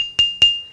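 A dense stone lithophone is struck twice, and each strike gives a clear, bright, bell-like musical note near 2.8 kHz that rings and fades quickly. It sounds like a xylophone note, in contrast to the dull tap of a sandstone grinding stone, which does not ring musically.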